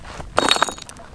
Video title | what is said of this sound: Inside the Grand Canyon! - Las Vegas Helicopter Tour | when they bump into each other sounds like glass